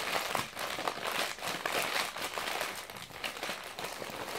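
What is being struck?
Glossy magazine paper pages.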